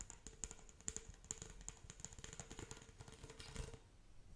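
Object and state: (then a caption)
Plastic pop tube toy. Long acrylic nails scratch along the ridges of a pink corrugated hollow plastic pop tube toy. The result is a quiet, rapid run of dry ticking and rasping clicks with bright, crisp highs and a soft low rumble underneath. A faint steady tone sits beneath the scratching throughout.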